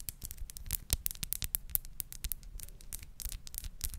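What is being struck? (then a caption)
Small glass perfume bottle. Long nails tap and scratch a small clear glass crown-cap perfume bottle held up in the air. A quick, uneven run of sharp, bright clicks with very short ring sits over soft, low thumps and faint scraping between the taps.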